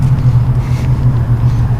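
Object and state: Nothing is struck.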